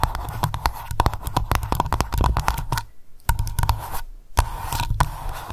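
Long nails tap and scratch quickly on the metal screw lid of a small glass candle jar labelled Lavender. Rapid, sharp clicks mix with scratching, pausing briefly twice.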